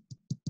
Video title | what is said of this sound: Atelier Baguettes avec Arnaud. | si on tape, on sent, ça sonne complètement creux